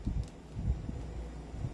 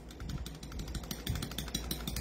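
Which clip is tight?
The first.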